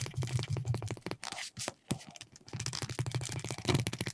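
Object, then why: Veg-tan leather piece rubbed with a wooden slicker. A wooden burnishing slicker held in the fingers rubs back and forth along the edge of a flat, thin, solid piece of red-dyed veg-tan leather lying on a cutting mat. The result is a rapid series of short, dry, low-heavy rubbing strokes with a light, bright scratchy edge. The strokes break off into a quieter, sparser stretch in the middle before resuming at a steady pace.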